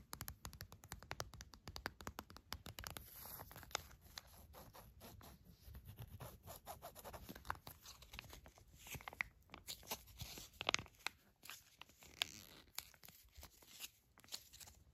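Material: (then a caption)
Foil. A small Pantene shampoo sachet, a foil or plastic packet filled with liquid, is tapped and scratched with long nails as it lies on a rug, then held and crinkled. Quick, dry clicks and bright scratching give way to softer, uneven crackling rustles, mostly high-pitched with little low end.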